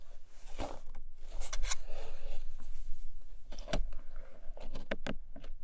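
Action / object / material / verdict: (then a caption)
tap / small paperboard box / paperboard / none. Long nails tap rapidly on a long, narrow, hollow pink paperboard box lying flat. The result is a quick run of dry, hollow clicks and knocks over a soft scratchy rustle, with bright ticks that stop short and have no ring.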